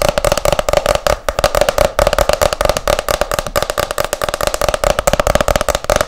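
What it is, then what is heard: Hardcover book. Long nails tap fast on the back cover of a hardcover book, which has a photo on it. The result is a rapid, continuous stream of short, dry clicks with a hollow tone around 600 Hz. Each tap dies away almost instantly.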